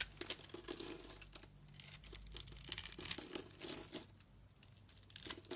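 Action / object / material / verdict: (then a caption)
scrape / bar of soap / soap / none. A metal utility knife blade carves a hand-held solid rectangular white bar of soap with a scored grid into small cubes. Crisp, crinkly scraping and crunching cuts come in quick bright bursts, easing briefly between passes. The sound is quiet and mostly high-pitched, with very little low end.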